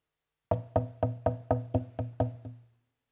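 A Bosnian maple violin back plate is tapped eight times in a steady series, each tap giving a short, woody knock with a low tone around 113 Hz and a faint overtone ring. The taps show how the back's tap tone differs from the spruce top's.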